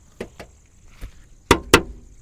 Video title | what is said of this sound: Finally We are Added a New Bike 🏍️🤑 | మొత్తం మెటల్ వస్తుంది, మొత్తం మన మెటల్ సౌండ్ వస్తుంది